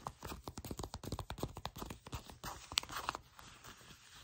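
Long nails scratch the surface of shiny black faux leather pants while fingers gather and crinkle the fabric in the hands. The result is a quick run of short, dry, crackling scratches with bright, papery highs, fading to softer rustling by the end.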